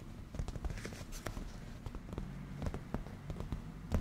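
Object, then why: Padded leather cushion. Fingertips with black-painted natural nails tap and scratch on a padded black grained leather cushion. Soft, dull taps and light scratching rustle play in a quick, irregular pattern against a low, muffled background.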